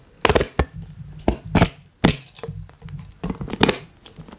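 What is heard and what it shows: Plastic toy hands worn on the fingers tap and squeeze the ribbed, hollow body of a collapsible silicone water bottle held sideways. The result is a quick run of sharp, crackly taps and brief crinkling squeezes with bright edges. Each dies away almost at once over a low, steady hum.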